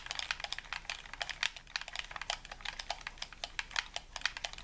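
Fingertips tap and click the buttons and shell of a hollow white plastic game controller held in both hands. It makes a rapid, uneven run of short, bright plastic clicks with almost no ring and very little low end.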